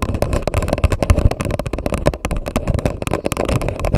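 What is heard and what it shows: An empty grey paper coffee cup sits upside down over a microphone while the long nails of both hands tap and scratch its hollow paper wall. The result is a dense, rapid run of low, hollow thumps and clicks mixed with dry scratching, with each tap dying away almost instantly.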